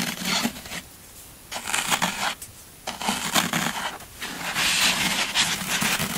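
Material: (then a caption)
Floral foam. Fingertips and nails press, rub and crush the scraped surface of a solid green floral foam brick, which is then lifted in the hands. Bursts of bright, dry crunching and crackling come in waves separated by short quieter gaps, growing into a denser, sustained crumbling toward the end.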